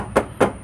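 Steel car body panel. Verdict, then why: No filler. Two knocks on the steel front body panel of a used car being checked produce a clear, ringing tone centered around 540 Hz with a short ring. The clear ring suggests little chance of body filler under the paint, though no other test confirmed it. A faint, steady high whine sits in the background.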